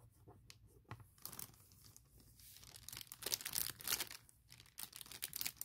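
Fingers and long nails rub, scratch and crinkle a large clear printed plastic bag holding a MacBook Pro laptop case. The result is a quiet run of bright, crisp crackles and tearing-like rustles in uneven bursts that swell louder toward the end, over a faint low hum.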